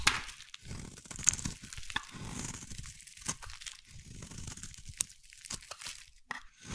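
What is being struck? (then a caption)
Bar of soap. A hand-sized solid green bar of soap is carved with a metal blade into long shavings. Each stroke gives a dry, crisp scraping and tearing sound with bright crackly detail and a soft low rumble underneath. The strokes repeat at an uneven pace with brief sharp clicks between them.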